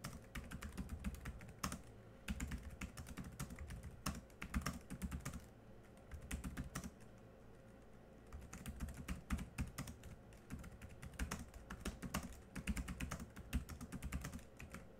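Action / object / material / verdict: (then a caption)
tap / plastic laptop keyboard / plastic / none. Both hands type quickly with their fingertips on a laptop keyboard with black plastic keys, producing dense, continuous key clicks with a low, thumpy body and short, crisp ticks. The typing eases into a softer, sparser stretch midway before picking back up to its earlier busy pace.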